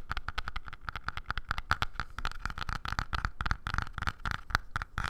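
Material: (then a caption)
Wood. Fingertips and nails rapidly tap and scratch the surface of a small, light-coloured wooden block or box with visible grain, held in both hands close by. The result is a quick, uneven stream of dry, short clicks with a soft low thump under them and a faint tone ringing near 1.3 kHz. Light scraping fills the gaps between the taps.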